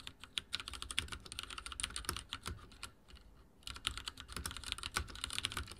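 Fingertips of both hands type rapidly on a full-size backlit mechanical keyboard with dark plastic keycaps and linear switches, resting on a wooden desk. A dense stream of short, bright clacking taps with a light low thud pauses briefly near the middle, then resumes at the same quick pace.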